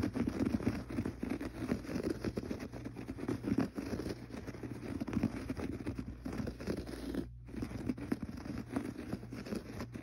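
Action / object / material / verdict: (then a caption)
scrape / textured pile carpet / carpet fibre / none. Fingertips scratch and pat the gray textured pile carpet on the floor, making a steady run of soft, dry, rustling scratches and light pats. A low hum runs underneath, and a brief gap breaks the sound after seven seconds.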